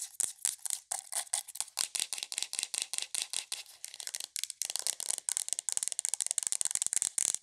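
Long nails tap rapidly and scratch on a hollow white plastic aroma diffuser with an LED, about thirty quick, dry clicks with no ring. The sound is bright and hissy, with almost nothing in the low range, and the later taps blur into a steadier scratching texture.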